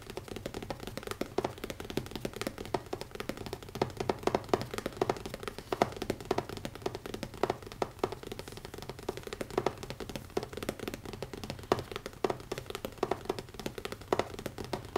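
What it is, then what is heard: Leather-covered notebook. Fingertips tap quickly on the closed, solid cover of a black grained leather notebook. A steady, rapid stream of short, dull, muted taps with almost no ring continues throughout, with a few slightly louder accents here and there.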